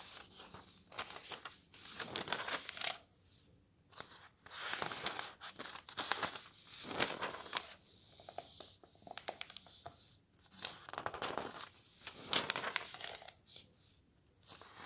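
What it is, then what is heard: Thin paper road atlas pages. Thin paper pages of an open road atlas are turned one after another, slid between the fingers, then smoothed flat by hand. Bright, crisp rustles and crinkles come in bursts separated by short quiet gaps, with almost no low end.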